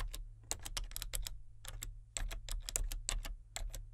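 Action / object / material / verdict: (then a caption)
tap / plastic membrane computer keyboard / plastic / none. Fingertips type on the main keys and number pad of a solid, full-size plastic membrane computer keyboard with a colour-changing backlight. The result is a quick, irregular run of soft, dry clicks with bright edges and very short decay. A steady low hum sits underneath the whole time.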